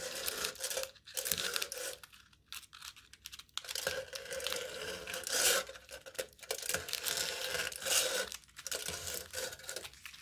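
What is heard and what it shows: A knife tip pokes and tears aluminium foil stretched taut over the top of a hollow cup. Bright, crinkly tearing and crackling comes in uneven bursts separated by brief quiet gaps, with almost no low end.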